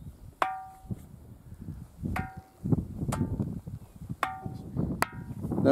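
A small hand-held stone knocks the side of a large, solid granite erratic boulder with cup marks that rests on bedrock, struck by someone crouching beside it. Each knock gives a bright, metallic, bell-like ring with stacked overtones around 600 to 800 Hz that dies away quickly. The knocks are spaced out over low, rumbling background noise.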